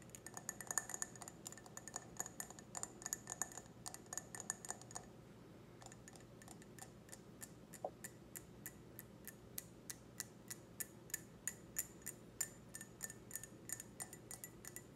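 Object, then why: Stemmed glass wine glass. An empty clear stemmed wine glass is tapped on its foot and bowl with long red nails, giving rapid, light, high-pitched clicks and ticks with a faint glassy ring. The taps come in dense clusters at first, then settle into a slower, steady rhythm.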